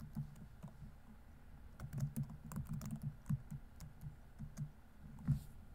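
Steady fingertip typing on a laptop keyboard with plastic keys produces a run of soft, dull key taps. Each press is a short, low-heavy thud with a faint bright click, and the taps come in uneven bursts and brief pauses that die away almost at once.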